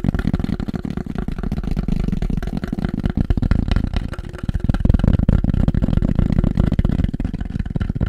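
Fast, continuous tapping on black polystyrene produces a dense, dull, low-pitched patter with almost no bright content. Each tap dies away instantly with no ringing, and the tapping grows slightly louder about halfway through.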